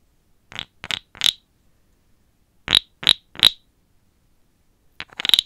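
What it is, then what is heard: Wooden frog guiro. A small, hollow, carved, light wooden frog guiro is held in one hand while a wooden stick, gripped with long black nails, is scraped along its ridged back and tapped on it. Bright, dry, clicking scrapes come in two sets of three short strokes with quiet pauses between. A quicker rattling burst of scrapes closes the clip.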